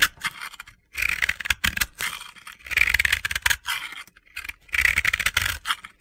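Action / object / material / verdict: scrape / pressed powder bath bomb scraped with a blade / pressed powder / none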